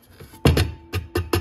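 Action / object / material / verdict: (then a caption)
tap / plastic fire alarm bell base / plastic / none. The plastic base of an Edwards MB10-24 motor fire bell is tapped five times, giving short, dull, hollow knocks with little ring and mostly low-end tone. It sounds cheap compared with the all-metal base of the 439D.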